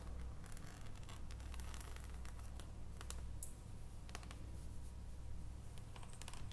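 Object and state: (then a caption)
Dark chocolate bar. Long nails tap the surface of an unwrapped solid dark chocolate bar held in the hands over its foil. Soft, quick clicking taps with bright, short edges ride over a steady low hum, with faint rustling between them, all at a quiet level.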